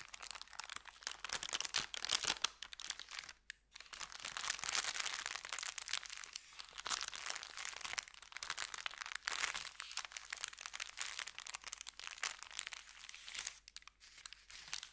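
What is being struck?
Kraft paper bag.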